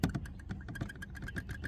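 Loose plastic trim on the hatch of a Mazda CX-90 SUV is moved by hand, producing a quick string of about a dozen light, dull plastic clicks with most energy in the low range. This rattle is a little quieter than the others, and the loose trim is to be bonded with clear silicone so it stops vibrating.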